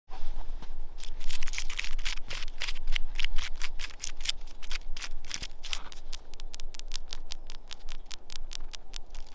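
Long acrylic nails tap and scratch the white papery bark of a solid living birch trunk outdoors in snow. The result is a fast run of crisp, bright clicks and dry scratchy rasps, denser at first and then settling into steadier rapid tapping, over a faint low hum.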